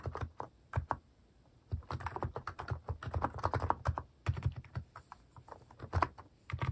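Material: Plastic.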